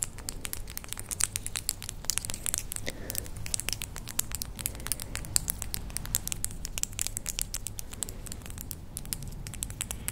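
Long pale acrylic false nails on both hands, small hard solid shells, tap and click against each other, nail on nail. Rapid, dry, bright clicks patter continuously with almost no ring, over a steady low hum.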